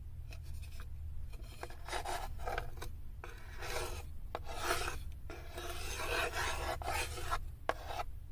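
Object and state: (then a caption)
Wooden tray scratched with nails. Long acrylic nails scratch and rub along the inner edge and floor of a light, unfinished, empty wooden serving tray with cut-out handles, open and hollow. Dry, raspy scraping strokes come in uneven bursts with short pauses, bright and gritty, over a steady low hum.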